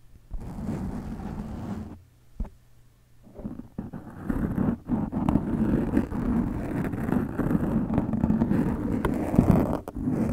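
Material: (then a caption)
Foam. A black foam windscreen over a microphone is gripped, making a muffled low rumble, then falls quiet for a moment. Long nails then scratch the foam from above in a dense, continuous run of close, crackling rubs.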